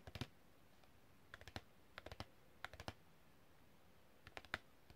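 A long, thin, flat printed cardboard packaging card with a hang hole is held flat and tapped with long red-painted fingernails in fast, typing-like strokes. About 18 quiet, dry clicks come in short bursts separated by pauses. Each click is bright and crisp and dies away almost instantly.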